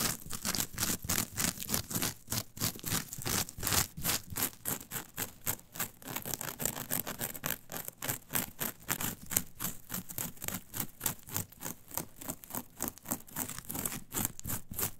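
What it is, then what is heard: Coir fiber mat. Long pointed nails scratch and pluck the bristly surface of a flat, brown, coarse coir fiber mat lying on a table, working with both hands. Dozens of quick, dry, bright scratching strokes follow one another at a fast, somewhat uneven pace, each a short crackly burst with a faint low thump underneath.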